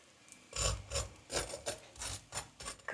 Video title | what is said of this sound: Рыбные котлеты, которые удивят всех! И на сковороде, и в аэрогриле. | listen to how crispy they are